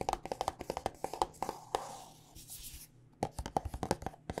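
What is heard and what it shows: Long nails tap a white plastic body butter squeeze tube filled with lotion, giving about twenty quick, dry plastic clicks with a mid-pitched hollow tone and almost no ring. The tapping runs fast, breaks into a soft brushing rustle through the middle, then resumes in a steady run of taps.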